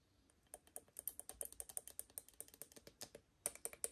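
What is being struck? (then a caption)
Aluminium stovetop coffee maker. An empty, assembled octagonal aluminium stovetop moka pot, hollow and held in hand, is tapped with long painted nails on its faceted body and lid. There are 28 quick, light clicking taps with bright, high metallic ticks and almost no ring, some falling in rapid bursts and others spaced apart, the last few slightly louder.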